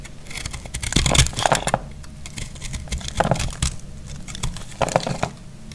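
A metal utility blade cuts and scrapes a dry, solid, palm-sized block of recycled, speckled green soap held in the hand, and flaky pieces fall away. The sound is a series of crisp, dry scraping and crumbly crackling strokes with bright, gritty texture. Louder bursts come around one second, mid-clip and near the end.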